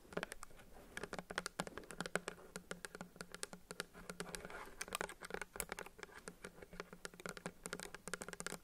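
A pink plastic bottle of nail polish remover with a paper label, apparently filled with liquid and held in both hands, is tapped rapidly with long acrylic nails. The result is a dense patter of short, bright, clicky taps that stop dead, with some soft scratchy texture between them.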